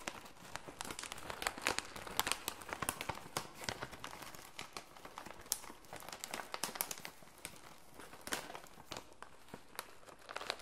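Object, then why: Plastic foil laminate snack bag. A full red plastic-and-foil laminate snack bag is turned and squeezed by gloved fingertips, making a steady crinkling and rubbing sound. Dense, bright crackles and sharp crinkles rise and fall throughout with no ringing between them.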